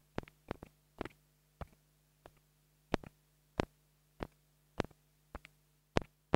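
A small black plastic mini lavalier microphone, held in long-nailed fingers, is tapped on its capsule with a wooden stick. Fourteen short, dry, low-heavy knocks come at uneven intervals, some in quick pairs, over a faint steady low hum and quiet background.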